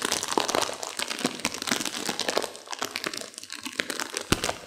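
A sealed plastic instant-noodle packet with dry noodles inside is squeezed and crinkled by hands and long nails to crunch the noodles. Dense, bright crinkling of the wrapper mixes with sharp crunching and cracking of the dry noodles in quick, uneven bursts. A louder snap stands out near the end.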